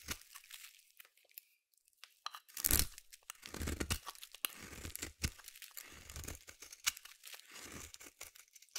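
A small metal blade scrapes and shaves thin curls off the corner of a palm-sized solid yellow bar of soap held in the hand, with the shavings piling up. The sound is a series of quiet, crisp crunching and tearing scrapes with bright high edges and a low thump beneath. Short strokes come in uneven bursts with brief pauses between them.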